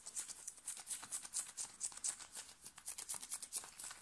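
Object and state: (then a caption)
Cotton shirt scratched with fingernails. Fingernails scratch fast and aggressively on the sleeve and chest of a thin, worn, light blue cotton t-shirt. The result is a quiet stream of rapid, irregular, dry rasping strokes, bright and hissy with almost no low end, each burst fading almost instantly.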